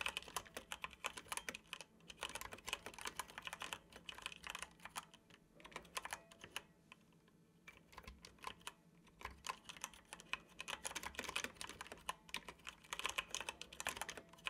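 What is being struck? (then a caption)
Plastic computer keyboard. Fingertips of both hands tap the keys of a dark plastic computer keyboard in continuous typing. Quick, bright plastic clicks patter in bursts, with a brief lull around the middle before the typing picks up again.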